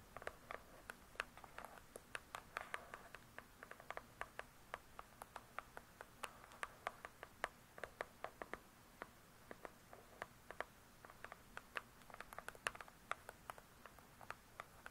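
Long acrylic nails on both hands tap rapidly on a large closed hardcover book with a glossy cardboard cover. Dozens of quiet, sharp clicks come in quick, uneven bursts, each dying away almost at once. They have a bright, papery-hard tone centred in the upper mids, over a faint steady low background.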